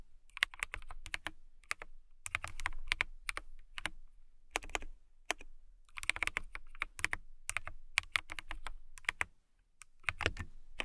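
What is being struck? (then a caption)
Acrylic mechanical keyboard. Long nails type on a transparent acrylic mechanical keyboard with clear keycaps, producing rapid, bright, clicky keystrokes in uneven bursts with brief pauses. Each keystroke snaps sharply with almost no ring, backed by a soft low thud.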